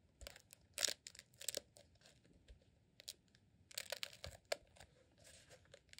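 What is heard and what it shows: A rolled beeswax sheet candle, a green honeycomb beeswax tube, is held in both hands and squeezed and scratched with fingertips. About a dozen short, bright, crinkly crackles come in quiet bursts, some dense and tearing-like, separated by brief near-silent gaps. The sound has almost no low end and stops dead after each burst.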